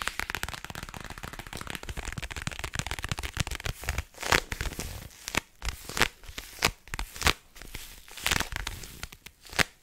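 Long nails tap and scratch the flat, thin, rigid printed cardboard back of a toy package with a carrot pattern. For the first few seconds it is a dense, rapid, bright scratching crackle. This gives way to sparser, sharper taps with crisp, dry clicks that stop almost instantly.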